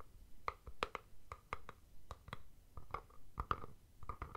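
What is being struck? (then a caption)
Rigid plastic deodorant tube. A palm-sized rigid plastic Speed Stick deodorant tube, held upright, is scratched and tapped on its side with fingertips. It gives a quick series of short, dry, hollow clicks pitched around 1.2 kHz, mixed with soft scratching and a low rumble underneath. Each tap dies away almost at once.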